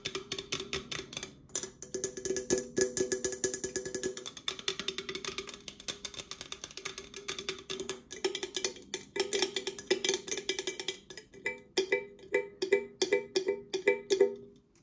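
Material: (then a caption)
Aluminum. An opened red Coca-Cola aluminum can, thin-walled and hollow with its fill level unseen, is held in both hands and tapped and scratched with long acrylic nails. Rapid, dense clicking taps mix with scratchy hiss, each tap giving a short, bright, hollow metallic ping centered near 400 Hz. The taps thin into slower, more spaced-out clusters toward the end.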